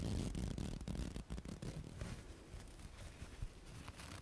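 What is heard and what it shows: A thin white paper tissue is held in both hands and rubbed and folded with the fingertips and nails. It makes quiet, irregular rustling and crinkling with soft brushing scrapes, heavy in low rumble with only a faint bright edge, fading slightly toward the end.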